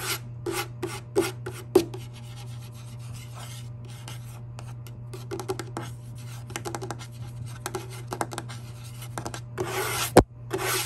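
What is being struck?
Wooden surface.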